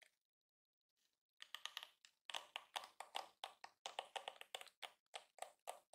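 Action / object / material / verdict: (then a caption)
flick / plastic detangling hairbrush bristles / plastic / none. Fingertips and nails flick and scratch across the many flexible yellow plastic bristles of a palm-sized yellow and pink plastic detangling hairbrush resting on a counter. After a near-silent start with faint ticks, a rapid series of bright, dry, crackling flicks follows, each snapping off quickly with almost no ring.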